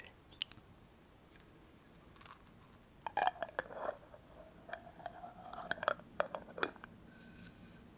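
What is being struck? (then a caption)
Small glass jar with metal screw lid. Long nails tap the sides and metal screw lid of a small, clear, apparently empty glass jar held in the hand. The result is a quiet, irregular series of short, bright clicks and light ticks, some carrying a faint glassy ring near 600 Hz, with very little low end.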